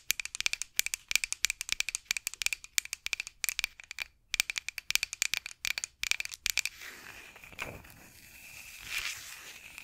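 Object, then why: Wooden rolling pin. A solid, light wooden rolling pin with handles is held horizontally over the mic and tapped and scratched with long acrylic nails. Dozens of quick, sharp, bright clicks carry a steady tone near 2.4 kHz for about seven seconds, then the sound shifts to a softer, continuous scratching and rubbing along the wood.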